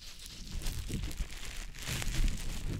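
A small, soft, damp green teardrop-shaped konjac sponge puff, held in fingers, is rubbed and squished over the silicone ear of a dummy-head microphone. It makes a continuous wet crinkling and squishing sound with low rumbling pressure and soft bright crackles. The loudness swells and dips throughout.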